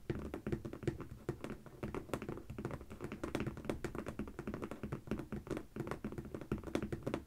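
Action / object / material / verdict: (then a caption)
tap / corrugated cardboard box / cardboard / none. Long painted fingernails and the fingertips of both hands tap rapidly on the top of a medium, closed corrugated cardboard shipping box with stickers on it, which is hollow and may hold packed products. The taps are short, dull and hollow, with a low-mid body and very little bright content, each dying away almost instantly in a continuous quick patter.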